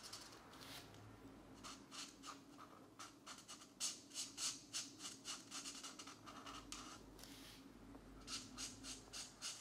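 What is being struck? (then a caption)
Paper coloring book page under a felt-tip marker. The felt tip of a plastic marker, held in one hand, strokes a thin paper page of an open paperback mandala coloring book lying flat on a desk mat, while the other hand holds the book still. About twenty short, quiet, bright scratchy coloring strokes follow one another at an uneven pace.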